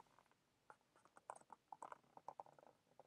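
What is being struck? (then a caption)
Small printed cardboard box. Fingertips and short nails handle and tap a small, hollow, orange printed cardboard box of instant ginger drink held in both hands. A quiet, uneven patter of light, dry taps and scratchy clicks centers around 1 kHz, with almost no low end and no ring after each hit.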